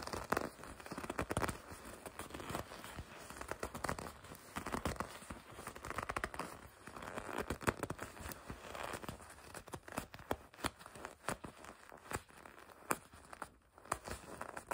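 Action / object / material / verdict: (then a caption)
scrape / leather jacket sleeve / leather / none. The sleeve of a soft, flexible red leather racing jacket is gripped and squeezed with long red nails and fingertips. The clip is a steady run of quiet squeaky leather rubbing, creaking and crinkling, broken by sharp, short crackles and ticks.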